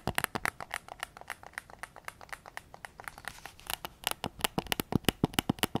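Fingertips tap and scratch the front shell and grips of a hollow, white hard-plastic PS5 DualSense controller held close to the recorder. About 33 quick, dry, clicky taps come in a steady rhythm with no ring, each crisp and bright, over a faint scratchy rustle. The taps grow louder and sharper toward the end.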